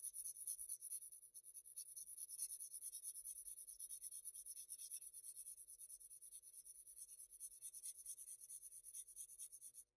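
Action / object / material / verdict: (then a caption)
scrape / graphite pencil on Bristol paper sheet / paper / none. A graphite pencil rubs back and forth across a flat sheet of Bristol paper, shading in a rectangular area. The sound is a quiet, bright, papery scratching hiss made of rapid, slightly uneven strokes that run steadily for the whole clip, with almost no low end.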